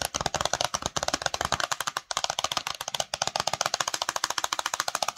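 Long nails tap rapidly on the front and edges of a small, hollow, patterned cardboard Cosmo cosmetics box, with the box held close to the face at the end. About 36 quick, dry clicks sound in fast bursts with short pauses, each bright and papery with almost no low end. Every tap dies away at once, with no ring.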